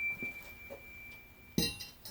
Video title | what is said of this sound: The Speedser Project - Model T Ford engine disassembly #5 | si elle a une fissure ça va aller cogner